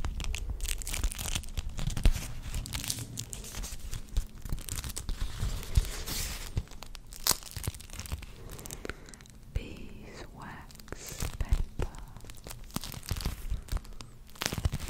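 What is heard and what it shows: Fingers rub, crinkle and bend a flat, purple, roughly A5-sized sheet of beeswax food wrap made of wax-coated cloth. The result is a dense stream of sharp, tearing crackles and crinkles with bright edges over a low rumble, easing a little around the middle before picking up again.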